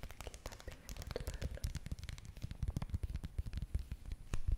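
A small red foil or plastic face mask sachet, held close, is scratched and tapped with long nails. Dense rapid taps and scratches give soft, low, thumping crinkles, with occasional crisp, bright clicks and scrapes. The tapping grows slightly louder toward the end.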